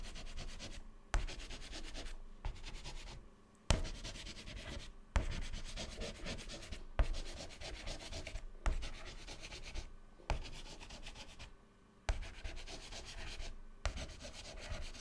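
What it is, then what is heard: Chalk writing on a chalkboard. White chalk scratches continuously across a black chalkboard panel, scribbling zigzag fills into the grid. The scratchy, rubbing strokes come in bursts, each opening with a sharp tap, separated by brief quiet pauses.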